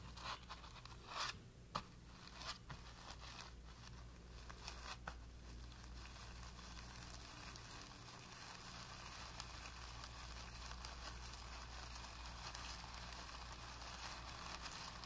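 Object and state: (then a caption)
Primed cotton painting canvas. A stiff flat paintbrush with light blue-tinted, dry or nearly dry bristles is lowered and rubbed and scrubbed against a blank white primed cotton painting canvas, which is flat and taut. Brisk scratchy strokes with a few sharper bursts in the first seconds give way to a steady, soft bristle rub that runs to the end. A constant low hum sits under the quiet scratching.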